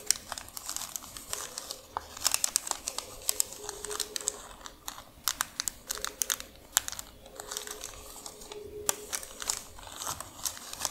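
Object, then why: Folded thin paper receipt. Long nails tap, scratch and press a thin, white paper receipt folded into pleats, resting on a dark surface. Rapid, bright crinkles and sharp ticks come in uneven bursts over a soft papery hiss, with a faint steady tone underneath.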